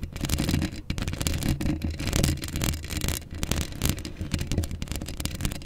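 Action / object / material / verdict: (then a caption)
scrape / steel mesh microphone grille / steel mesh / none. Long acrylic nails scratch a hollow steel mesh microphone grille up close. The result is a dense, continuous stream of rasping scrapes with a heavy, boomy low rumble underneath and a crackly, bright edge on the sharper strokes. The level swells and dips steadily throughout.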